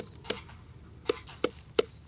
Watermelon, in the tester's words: 这种9成熟的很低沉那种砰砰砰的声音